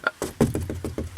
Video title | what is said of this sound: 2014 Mercedes Benz GLK350 Interior & Exterior Tour | and then when I tap on the headliner it just sounds kind of hollow so I don't really care for that